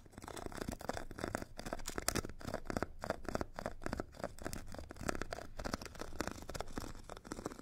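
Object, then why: Foam foot file with abrasive grit layer, scratched with a metal stick. A metal stick scratches the purple abrasive grit layer of a hand-held foot file with a solid white foam core. Rapid, rasping strokes run back and forth continuously, with a gritty mid-range texture and faint low rumble underneath.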